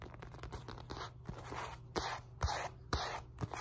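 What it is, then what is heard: Synthetic leather focus mitt, tapped and scratched. Long nails tap and scratch the surface and sides of a padded, hand-sized black synthetic leather boxing focus mitt. Quick scratchy scrapes and crunchy rustling mix with sharper taps that carry a low thump, the strongest landing near 2, 2.4, 2.9 and 3.4 seconds.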